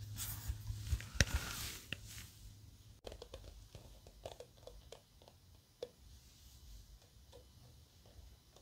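Fingertips and nails scratch and flick the purple nylon bristles of a small handheld paddle-style hairbrush and rub along its hard black plastic back and rim. A bright, hissy scratching with a few sharp clicks fills the first few seconds, then gives way to quieter, irregular soft flicks and taps over a steady low hum.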